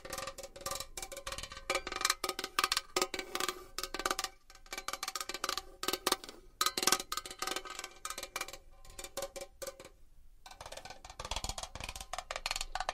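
A small metal box is tapped and scratched with long nails, giving rapid, bright metallic clicks with a cowbell-like ring that die out almost instantly. The taps come in fast, irregular bursts with scratchy rustles between them and a brief quiet gap near the end.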